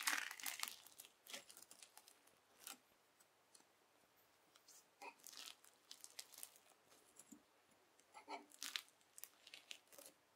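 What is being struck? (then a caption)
Bead slime (floam). A white plastic fork scratches and cuts through red bead slime (floam) on a white table, folding it over. Quiet, bright crunchy tearing and crinkling bursts come in irregular clusters with brief pauses between them.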